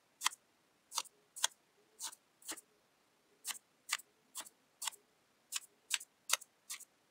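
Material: Kinetic sand.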